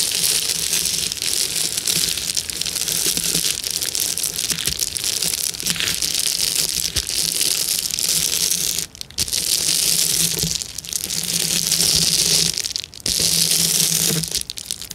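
Long-nailed, clawed fingers press and crush the bubbles of a clear plastic bubble wrap sheet. The result is a dense, continuous crackling and crinkling, almost entirely bright and high with a faint low hum beneath. Brief pauses break the crushing near 9 and 13 seconds before it resumes.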